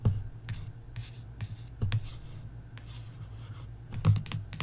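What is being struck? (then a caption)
Paperback book cover. A long fingernail traces across the cover of a paperback coloring book, making soft, bright scratching strokes, then fingertips tap the cover with short, dull taps. A low, steady hum runs underneath throughout.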